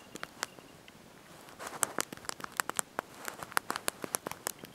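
Thumbs and fingertips press and tap the small backlit plastic keys of a handheld slide-out QWERTY mobile phone keyboard while typing a message. The result is a quick, irregular run of soft, sharp, bright clicks with almost no low end and no ring, over a faint hiss.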